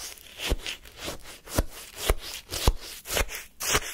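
A wooden spoon scrapes through pale, frozen lemon shaved-ice sorbet in a paper cup. Seven crunchy, gritty scrapes through the granular ice come at a loose, uneven pace, each a short, dry burst with a bright, crackly edge and a dull low thud underneath.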